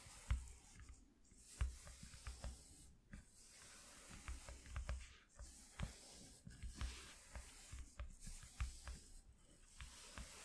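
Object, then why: Corrugated cardboard sheet. A fluffy makeup brush sweeps in strokes across a flat white corrugated cardboard piece lying on a dark cloth. Soft, airy brushing hiss rises and fades with each stroke, broken by faint low thumps and short bright ticks. The sound stays quiet and close throughout.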